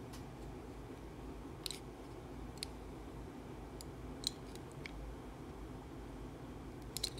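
A segmented metal utility-knife blade cuts and shaves slices from the top of a solid, hand-sized blue Dettol soap bar held in the hand. Sparse, irregular, sharp clicks and crisp snaps with bright high edges stand out over a steady, quiet low rumble. Each cut dies away almost instantly.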